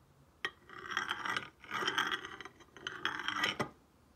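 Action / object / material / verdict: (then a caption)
scrape / stone face roller on glazed ceramic tile / ceramic / none. A stone face roller is rolled by hand across a solid, glossy painted ceramic tile lying flat. A sharp click starts it, then three rolling passes make a gritty, rattling hum with a tone around 1.6 kHz and bright overtones. It ends with another hard click.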